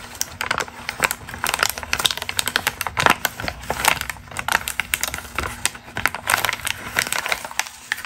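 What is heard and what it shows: A single thin, pink glossy magazine ad page for argan oil is held flat and crumpled by hands with long green nails. It produces a steady stream of crisp, bright crinkles and sharp crackles that cut off quickly, with a faint low hum underneath.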